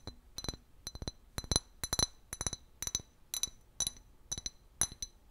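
A clear glass bottle with a paper label, hollow and apparently empty, is held and turned in the hands while fingernails tap and scratch along its body. Quick, bright clinks come in uneven clusters, each with a high glassy ping that dies away almost at once, along with a faint scraping.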